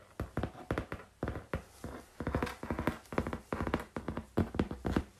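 Fingertips and nails tap on the surface of a flat brown corrugated cardboard sheet. Quick bursts and clusters of short, dull, hollow taps come through with low-weighted thuds and very little brightness. Each tap dies away almost instantly between the groups.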